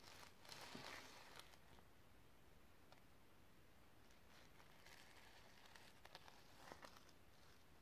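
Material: Sequins.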